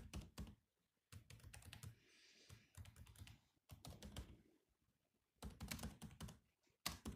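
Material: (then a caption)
Plastic. Fingertips of both hands type on a grey laptop keyboard with black plastic keys, making quick bursts of short, clicky taps with a dull low thump. The typing comes in clusters separated by brief pauses, with a faint high hiss in one gap.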